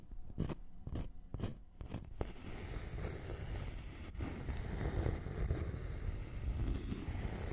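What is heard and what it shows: A thin, flat, solid wooden notched trowel board is scratched with fingernails, then its notched edge is scratched and tapped. Sharp, dry taps and clicks come first, followed by a steady, low, rumbling scrape of nails over the wood that keeps going to the end.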